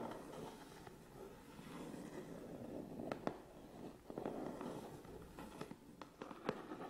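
Fingertips and nails rub and tap the front and sides of a hollow, medium Canon cardboard camera box held upright. Soft, continuous scratchy rubbing with a dull low-mid body is broken by short, sharp taps that click and die away almost at once, all at a quiet level.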